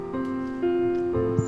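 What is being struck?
Nothing is struck.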